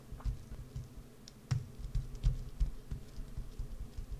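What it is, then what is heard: Bar of soap being carved. A wood-handled carving tool scrapes and carves a solid green bar of soap held on edge. The result is a run of short, soft, dull scratches and ticks with faint bright edges over a low, muffled rumble.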